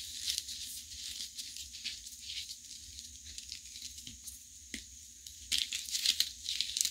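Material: Chalk.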